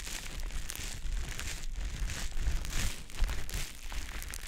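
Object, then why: Konjac sponge puff. A small, soft, damp green teardrop-shaped konjac sponge puff is held in the fingers and rubbed and squished against the silicone ear of a dummy-head microphone. The result is a continuous, wet, crinkly rustling with a strong low rumble. Brighter squishing swells rise and fall throughout.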